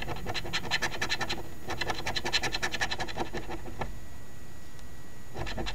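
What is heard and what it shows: A coin held in the fingertips scratches the latex coating off a flat cardstock $5 OLG Very Merry Multiplier instant lottery ticket (#2465) lying on a table. Quick, rasping scrapes come in bursts, then stop for over a second of quiet before a few final strokes.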